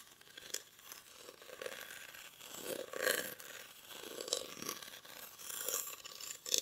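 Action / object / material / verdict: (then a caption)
scrape / woven rattan basket / rattan / none. Short fingernails scratch the weave of a hollow, cylindrical woven rattan or reed basket held in both hands. The result is a series of dry, crackly, bright scratching bursts with a hollow midrange tone and almost no low end.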